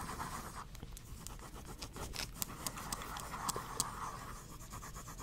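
A pink pen drags across the page of a small spiral-bound paper notepad with a pink cover, held in one hand, while writing and drawing. Quiet, steady pen-on-paper scratching with a papery band near 1 kHz, a low background rumble, and several brief bright ticks as strokes start and stop.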